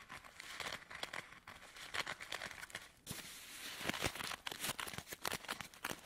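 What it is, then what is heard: Stack of paper tea sachets crinkled. A fanned bundle of filled camomile tea sachets in thin paper is held in one hand while fingertips and medium nails riffle through and crinkle the paper edges, then squeeze the bundle. Dense, bright, dry paper crinkles and rustles come in quick, uneven bursts with almost no ring. Around the midpoint the sound turns into a steadier, fuller crunching from the squeezing.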